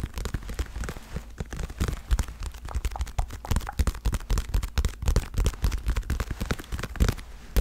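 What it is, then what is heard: Leather boxing glove. Long red-painted nails and fingertips tap quick patters on a padded, soft dark blue leather boxing glove held close to the mic. The taps land as a dense run of short, dull, bass-heavy thuds with almost no high end, each dying away almost instantly. The result is a soft, muffled patter much like rain drumming on a surface.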